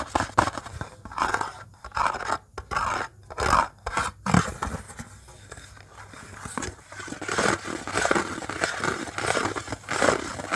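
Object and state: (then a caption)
Metal cookie tin lid. Fingernails scratch and tap the embossed surface of a round metal "Wonderful Copenhagen" cookie tin lid held in the hands. Bursts of dry, crackly scraping alternate with quick, sharp taps that die away almost instantly.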